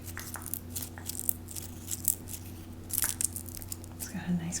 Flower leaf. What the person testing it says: starting to dry up a little bit you can hear a nice crunchy Leaf here